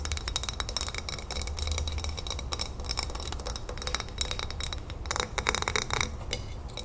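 Long nails rapidly tap and scratch the glass sides and paper label of a full glass jar of salsa verde with a metal lid. The result is a dense run of bright, short clinks with scratchy rustling between them over a low steady rumble.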